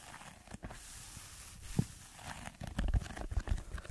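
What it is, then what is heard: Foam sheet being scratched. Fingertips scratch a red textured foam block held above the microphone. The scratching comes through as a soft, muffled, low rustle that turns into a run of irregular dull thumps and scrapes in the second half.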